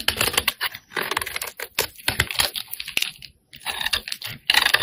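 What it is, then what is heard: Bar of soap being scraped. A metal blade scrapes and shaves the surface and edge of a solid pink bar of soap held in the hand. The sound is a run of quick, crisp, bright scraping ticks and rasps, with short pauses between bursts.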